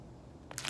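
A soft pink slime blob on a glossy table is poked and pressed with fingertips, then pulled and stretched upward by hand. After a near-silent start, a faint sticky pop is followed by a louder burst of bright, crackling squelches and pops.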